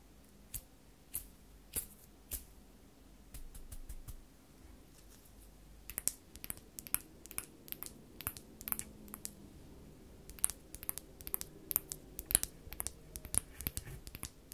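A purple hand brush with a plastic handle and stiff plastic bristles is scratched and flicked by long false nails. Sharp, bright clicks and ticks ring out at a steady pace over soft scratching, with a short stretch of quieter rubbing in the middle.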